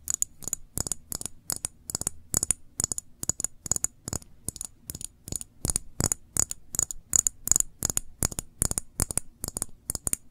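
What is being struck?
Small glass jar with metal lid.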